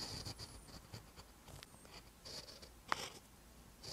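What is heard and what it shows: A metal-tipped pen writes green Hangul on a lined paper notebook page, giving quiet, continuous scratching with bright, hissy strokes. A short, sharper tick stands out near the three-second mark.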